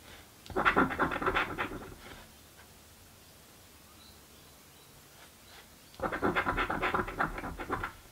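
A coin scratches the coated squares of a thin card crossword scratch-off lottery ticket lying flat on a table, held in place by a hand with long painted nails. Two bursts of rapid, gritty scraping strokes, from about 0.5 to 2.2 seconds and from 6 seconds to the end, carry a dry midrange rasp centered near 1.2 kHz. A near-silent pause separates them.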